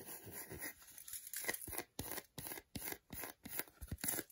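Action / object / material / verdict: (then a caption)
scrape / milk chocolate bar / chocolate / none. Long nails scratch the back and segmented front of a solid milk chocolate bar held in the hand. The sound is dry, rapid scratching that begins as a continuous rasp and breaks into short, crisp bursts with almost no ring. It has a bright, papery texture.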